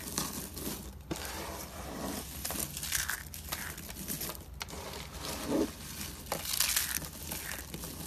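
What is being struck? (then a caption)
Soap shavings. A heap of small, brittle, dry soap flakes and curls in cream, white and blue sits on a white surface as fingertips press and knead them, then both hands squeeze to crush them. A steady run of dry, bright crackling and crunching fills the clip, with short louder crumbly bursts as the flakes break apart.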